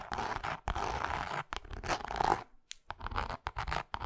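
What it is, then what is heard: Faux leather wallet scratched with fingernails. Long acrylic nails on both hands scratch and tap the cross-grain textured face of a small, flat pink faux leather wallet held flat. Dry, rasping scratches come in dense bursts centered in the mids around 850 Hz, broken by short pauses and a brief near-silence before quicker scratchy strokes and taps resume.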